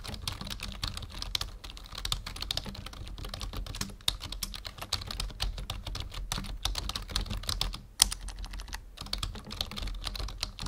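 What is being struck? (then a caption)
Plastic membrane computer keyboard. Fingertips of both hands type steadily on a full-size black plastic membrane keyboard resting on a wooden desk. The result is a dense, continuous patter of short, bright clicks with a low thud under each press, broken by brief pauses near 4 and 8 seconds.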